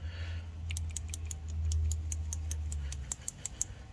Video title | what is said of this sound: Episode 2 XH Falcon | you can hear the plunger moving, and this wasn't doing it